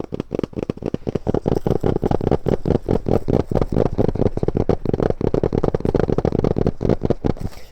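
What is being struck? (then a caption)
Laptop DVD drive casing. A laptop DVD drive, bought for $3, is tapped on its casing in a fast, steady run of short, dry taps. The taps are dense and low-weighted, with energy concentrated below about 1 kHz and almost nothing in the high range. Each tap dies away almost immediately, with no ringing.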